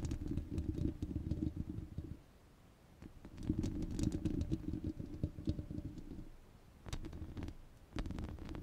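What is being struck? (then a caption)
Steel wire-mesh microphone grille. Long red nails scratch a rounded, hollow steel wire-mesh microphone grille, producing dense, rumbling low scratching with sharp bright ticks and clicks. The scratching comes in bursts, with brief quiet pauses around 2 to 3 seconds and again near 6.5 seconds, before resuming in short strokes.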